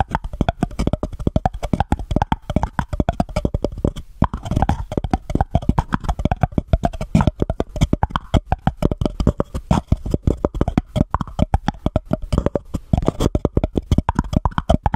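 Long fingernails on one hand rapidly tap and scratch a small, empty, white embossed paper cup held over the microphone. The result is a dense, continuous stream of short, dry, hollow plops, heavy in the low end, with a faint resonant tone and almost no ring after each tap.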